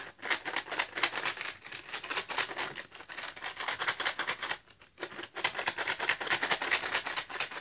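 A small printed cardboard box of Giotto felt-tip markers, hollow and apparently full of markers, is held in both hands and tapped quickly with fingertips and nails. The result is a dense run of dry, bright clicking taps with a papery edge and almost no low end. The tapping breaks briefly just before the five-second mark, then resumes just as fast.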